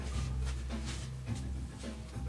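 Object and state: Nothing is struck.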